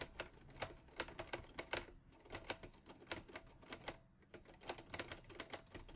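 Fingertips type on the keys of a mint-green Olivetti Lettera 22 portable manual typewriter with a metal body and paper loaded. Rapid, sharp metallic clacks with bright, short-ringing strikes come in bursts, with brief pauses around the two- and four-second marks.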